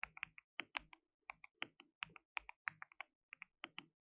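Fingertips type rapidly on a compact white RGB-backlit mechanical keyboard with plastic keycaps and a hollow case. About 23 quick, separate keystrokes sound as sharp, bright plastic clicks with almost no low end and very short decay. The result is a light, hollow-sounding clatter in an uneven typing rhythm.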